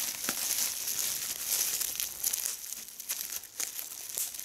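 A small piece of clear plastic bubble wrap is held in both hands while fingertips and long red-painted nails squeeze and pop its air bubbles, and a larger sheet of bubble wrap lies still on the table. Bright, crinkly plastic rustling continues throughout, broken by sharp, irregular pops and crackles.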